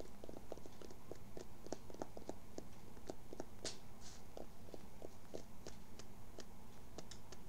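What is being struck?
Cotton baseball cap.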